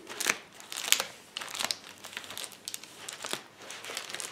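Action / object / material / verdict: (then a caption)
scrape / plastic bubble wrap sheet / plastic / none. Palms and fingers press a flat sheet of clear plastic bubble wrap lying on a table, popping the bubbles. Sharp, bright snaps burst out at irregular intervals over a steady plastic crinkling. Each pop dies away almost instantly.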